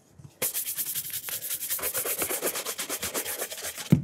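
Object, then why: Leather shoe upper brushed with a horsehair brush. The upper of a burgundy leather cap-toe dress shoe, held in hand with its rubber sole visible, is brushed back and forth with a horsehair brush. After a brief quiet start, about nineteen quick, even, bright bristly swishes follow in a steady rhythm, ending with a soft low bump.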